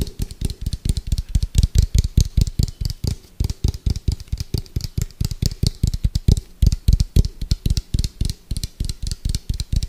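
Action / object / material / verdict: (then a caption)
tap / round plastic food container / plastic / none. Fingertips and nails tap quickly and hard on the side of an orange, hollow, round plastic food container with a white lid. About fifty rapid taps in a steady, uneven rhythm each give a deep, hollow thump with a faint bright click from the nails. Each tap dies away almost instantly.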